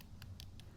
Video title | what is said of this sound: I can see why this Echo trimmer was given away | it should be flexible but as you can hear it sounds like i'm tapping on a piece of cardboard so we need to replace it